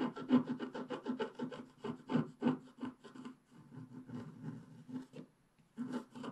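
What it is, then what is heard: Scratch-art paper page being scratched. A wooden stylus scratches the coating at the lower left of a flat scratch-art paper page while the other hand holds the page steady. Quick, uneven strokes produce a dry, rasping scrape with a low, buzzy tone, broken by short pauses between bursts.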